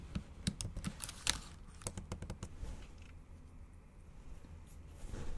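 Long acrylic nails tap on the black plastic keys of a MacBook Pro keyboard set in an aluminum body. About ten sharp, bright clicks come quickly over the first two and a half seconds. A quieter stretch with a low steady hum follows.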